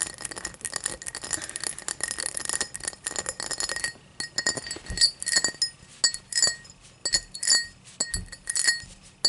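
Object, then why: Glass tumbler. A tall drinking glass is tapped and scratched. For the first four seconds, dense rapid scratching and tapping runs together. After that come separate, bright glass clinks with short rings, repeating irregularly.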